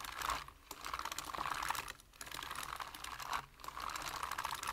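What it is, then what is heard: Plastic computer keyboard. Fingertips type quickly on a full-size black plastic computer keyboard, producing rapid, crisp key tapping with a bright clatter centered around 900 Hz. The typing comes in three bursts separated by brief pauses, with each click dying away almost instantly.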